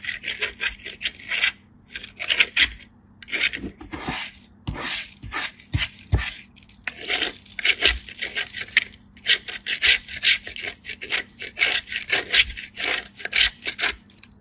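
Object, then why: Bar soap on a metal grater. A piece of white solid bar soap is pushed with the fingers across the punched holes of a small stainless steel grater, with shavings falling onto a green surface. Repeated quick grating strokes make bright, dry rasping bursts separated by short pauses, with little low end.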